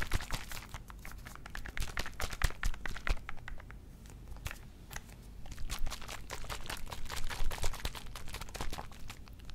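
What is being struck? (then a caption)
Small plastic mouthwash bottle with liquid. A small plastic Listerine mouthwash bottle filled with blue liquid is gripped by the fingertips and shaken over a microphone. The liquid sloshes with quick, irregular splashy bursts and fingertip crinkles on the plastic over a low rumble.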